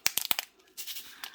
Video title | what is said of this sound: WIP - Holiday Greetings | shake them around you can hear it is popping and I will say as long as it's popping this way there are still that need to be split